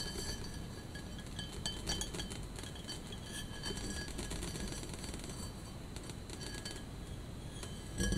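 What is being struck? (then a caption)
Etched glass vase. A tall, hollow, empty clear glass vase with an etched pattern, held in both hands with a pink bath bomb resting on its top opening, is tapped repeatedly with long painted fingernails. The result is a steady stream of light, bright clinks and short glassy ticks over a low, rumbling background.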